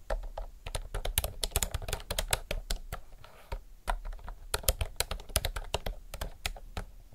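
Both hands type fast with fingertips and nails on a retro mechanical typewriter-style keyboard with round plastic keycaps. It makes a rapid stream of sharp, bright clicks over a low thud, with a brief lull in the middle. Each keystroke dies away almost instantly.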